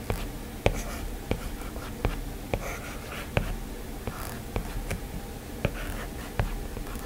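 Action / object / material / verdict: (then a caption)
tap / plastic stylus on glass tablet screen / glass / none. A plastic stylus strokes and taps on the glass screen of a flat, solid iPad while a hand draws a rose. Sharp, brief clicks stand out over a low, soft scratching bed, with about ten distinct taps spaced through the clip.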